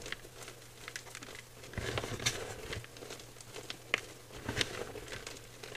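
A dry mound of white gym chalk powder (magnesium carbonate) in a clear bowl is squeezed and crumbled by fingertips. It gives soft, bright crunching and crackling with a few sharper snaps, over a faint steady low hum.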